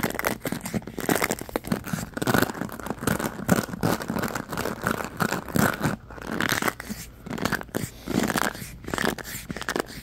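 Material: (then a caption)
Plastic. Fingertips and nails scratch and rub across the many bristles of a black oval paddle hairbrush with a plastic body and rubber cushion, held in one hand. The result is a dense, crackly, crunching scratch that comes in uneven bursts and brief pauses.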